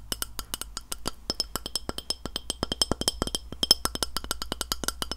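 Fingernails tap quickly and steadily on a glass plate. Each tap is a short, bright click with a faint high glassy ring that fades almost at once, over a low, steady hum.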